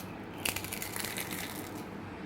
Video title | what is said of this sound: कुरडईचा चीक मिक्सर वरती काढला तरी एवढ्या पांढऱ्याशुभ्र कुरडई😍😋या टिप्स फॉलो करा म्हणजे चीक | तेल राहत नाही काही नाही एवढा मस्त आणि कुरकुरीत आवाज येतोय